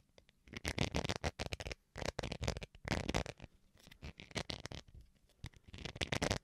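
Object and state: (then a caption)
Plastic rice spoon. Fingernails scratch a small, solid white plastic rice paddle spoon held in one hand, first near the face and then moving close to the microphone. Clusters of quick, dry scratching strokes come in bursts separated by short pauses. The sound is broadband with a low body and bright, papery edges, and it stops dead with no ring after each stroke.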